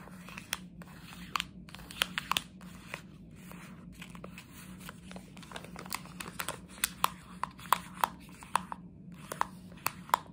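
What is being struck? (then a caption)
Thin plastic candy bag. A plastic jelly bean bag is crinkled and folded by hand with long nails, making dry crackling rustles. Sharp, bright clicks and snaps stand out from the rustle throughout. A faint, steady low hum sits underneath.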